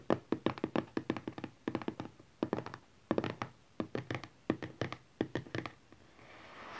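Fingertips and nails of both hands tap rapidly on a closed, hollow, teal printed cardboard smartphone box lying flat on satin cloth. About 29 short, dry, hollow taps come in quick clusters, each dying away almost at once. The taps stop near the end as a soft, brighter hiss rises.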